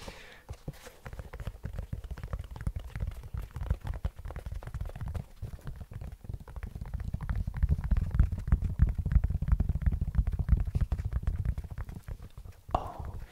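Fingertips and nails tap and scratch the fabric upper and white rubber sole of one hollow, empty black low-top canvas sneaker with white laces, held in the hands close to the mic. A dense, irregular stream of soft, muffled thumps and scratching, almost all low in pitch, grows louder in the second half before a brief brighter brushing sound near the end.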